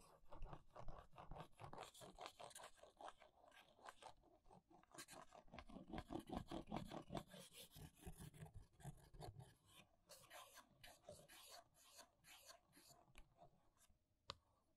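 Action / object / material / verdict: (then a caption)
scrape / small paperboard box with plastic window / paperboard / none. Long nails scrape and trace across the front of a small hollow paperboard press-on nail box with a plastic window. The result is a quiet, steady stream of fast, irregular scratchy strokes with a soft hollow low body under the bright rasp. A single sharp tick stands out near the end.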